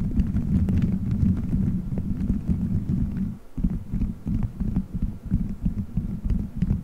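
Fingertips squeeze, rub and scratch colorful gelatin gummy bears stuck all over a microphone head, forming a solid dome. The result is a dense, muffled stream of deep squishy thuds and rubbing, almost entirely low in pitch with no bright content. It briefly drops quiet around the middle before the soft pressing resumes.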